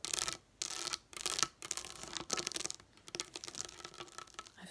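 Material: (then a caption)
Plastic. Long nails tap and scratch across a flat sheet of raised plastic dome dot stickers lying on a table. Bright, crackly scratching comes in bursts separated by brief pauses, with quicker, lighter ticking taps toward the end. There is almost no low end.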